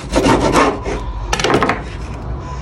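The crust of a Marmite-and-cheese sandwich, buttered on the outside and toasted for about 2.5 to 5 minutes in a silicone microwave toaster, is rubbed and scraped. It gives dry, crackly rasping bursts that show how crispy the toast is.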